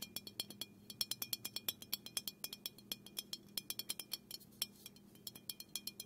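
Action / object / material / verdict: tap / aluminum aerosol can / aluminum / none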